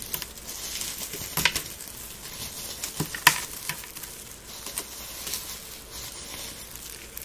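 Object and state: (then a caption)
Dried rose petals crumbled. Gloved fingers rub and crumble dried rose petals and small fragments into flakes. The result is a dry, bright crinkling and crackling with soft patter and scattered sharper snaps over a faint hiss.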